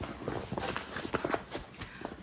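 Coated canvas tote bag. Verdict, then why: Noisy. A coated canvas tote bag is handled and rustled as if rummaging in and out of it, producing a crinkly, plasticky rustling with several sharper crackles. It sounds cheap, like a plastic reusable shopping bag rather than canvas, and the noise comes from the coated canvas exterior.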